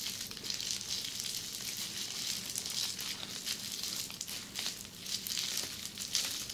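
Long red-painted nails scratch across a close-up sheet of flat red plastic bubble wrap. The result is a steady, bright crinkling and scratching texture with faint crackles scattered throughout.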